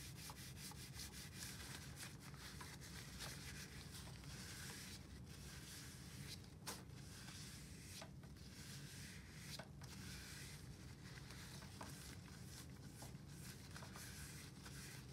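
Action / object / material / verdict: scrape / plastic telephone handset / plastic / none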